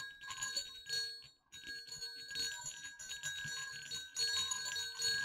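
Two small hollow silver metal jingle bells on a cord are shaken, giving a continuous bright, high jingling with sustained metallic ringing tones. The jingling pauses briefly near the middle and then resumes, growing louder toward the end.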